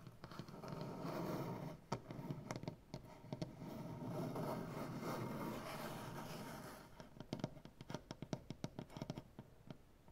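Fingernails on both hands scratch and tap across a solid, light maple butcher block tabletop. Long, dull, rasping scratches dominate the first seven seconds, broken by a few sharp taps. The clip ends in a quick, uneven run of short, dry nail taps that die away almost instantly.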